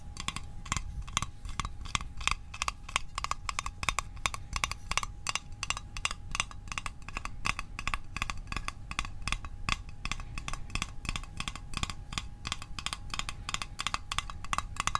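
A small, hollow metal Altoids mint tin is tapped rapidly with fingertips and nails. The result is a steady stream of short, dry, bright clicks with a thin metallic ping around 1.1 kHz that dies away almost instantly, over a soft low rumble.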